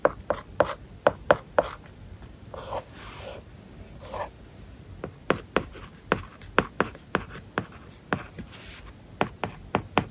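A stylus tip writes words across an iPad's glass screen covered with a matte, plastic paper-like film, tapping and scratching over the surface. Sharp, dry clicks come in irregular bursts, with soft scratchy strokes between them and almost no ring after each tap.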